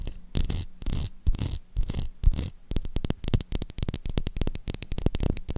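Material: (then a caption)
Soap. Long acrylic nails scratch and tap across the embossed face of a light blue solid bar of soap. The first half is slower, scratchy strokes, then it shifts into rapid, dry, close-up taps with a dull low-heavy tone and almost no ring.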